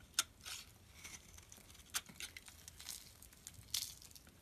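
A metal blade scrapes crumbly flakes off a solid purple bar of soap with a scored surface, held in the hand. Quiet, bright crinkly scraping is broken by a few sharper crisp snaps as the flakes break away.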